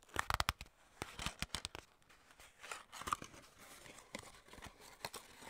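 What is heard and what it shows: Fingertips and long nails grip, tap and scratch a small, hollow, printed white-and-red skincare paperboard box and its end flap. A quick run of sharp, dry taps and clicks mixes with crinkly, tearing-like scratches and soft crunching grips, bright in tone with little ring. The sounds come in dense bursts early on, then settle into quieter, steadier rubbing with occasional taps.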